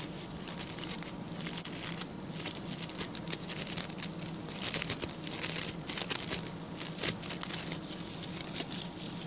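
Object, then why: Coir bristle brush. Fingertips and nails of both hands scratch the stiff brown bristles of a small, round, ring-shaped coir (coconut fiber) brush with a pink handle. The result is a continuous, bright, crackly scratching with rapid bursts of dense patter, concentrated in the high range, over a faint low hum.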